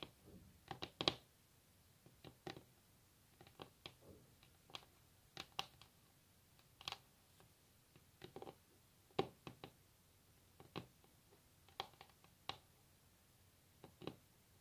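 Long natural nails of both hands tap and scratch a solid wooden table top up close. Short, sharp, bright clicks come in irregular bursts and clusters, each dying away almost instantly, over a quiet background.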